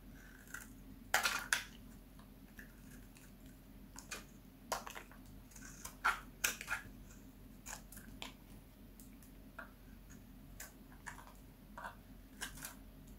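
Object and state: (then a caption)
Dry bar soap being shaved. A palm-sized, solid oval green bar of dry soap is held in one hand and shaved across its surface with a metal utility knife blade, peeling off thin green curls. Short, dry, crisp scraping crunches come at irregular intervals, bright and with no ring, over a quiet, steady low hum.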